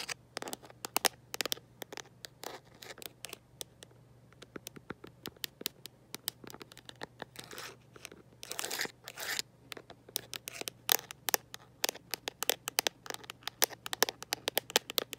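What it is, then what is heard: Plastic phone case. A smartphone in a mint-green rubber and plastic protective case, held in one hand, is tapped and scratched by long nails fitted with metal paperclips. Rapid, bright clicks and taps come in quick irregular runs, broken by a few longer, crinkly scratching bursts. Each tap is dry and dies away almost instantly.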